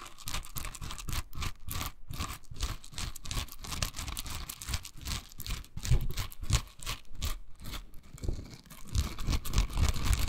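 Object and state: Silicone bristle scrubber.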